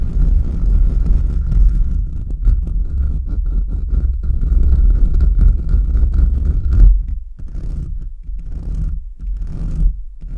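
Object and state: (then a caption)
Metal mesh microphone grille being scratched. Fingertips and short nails scratch fast and aggressively across the bare, hollow metal mesh grille of a large USB microphone. The result is a dense, heavy low rumble of scraping and rustling with a faint steady tone above it. After about seven seconds the scratching breaks into shorter, separate bursts with brief gaps between them.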